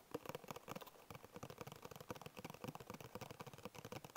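Fingertips and short nails tap and scratch the side and edges of a small, hollow, printed paperboard Bisco biscuit box. Quiet, dry, papery taps and scrapes come in a rapid, uneven patter of about nineteen short hits. Each hit has a hollow mid-range tone that dies almost instantly.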